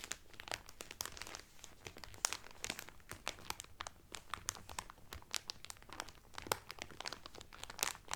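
A blue Carnival cotton towel, folded flat inside a clear cellophane wrapper, is pressed and crinkled by both hands with fingertips and nails. The result is a steady stream of sharp, bright crackles and crinkles, dense and overlapping with no real low end.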